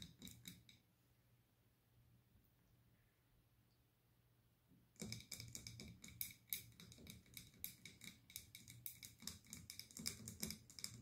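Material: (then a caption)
Glass. Long green-tipped nails tap and scratch the sides of a large glass candle jar with a paper label, filled with wax and with a lit wick, held in both hands. A few bright clicks open the clip, followed by about four seconds of near silence. Then a dense, uneven run of sharp, high glassy taps and scratches continues to the end, each one dying away almost at once over a low hum.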